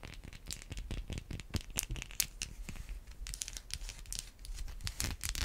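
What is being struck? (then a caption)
Bar of soap scratched and tapped with fingernails. Long white acrylic nails scratch and tap a solid white bar of soap. The result is a dense run of quick, dry, crinkly scratches broken by sharp, bright taps that die away almost at once, with a low thud under the louder strikes.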